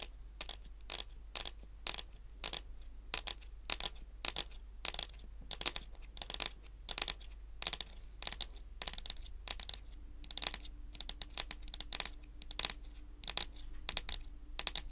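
Long pointed acrylic nails on both hands tap a large, solid, glossy dark brown wooden table top in a rapid, irregular series of bright, crisp clicks. Each click dies almost instantly over a steady low hum, and a faint low tone joins in during the last few seconds.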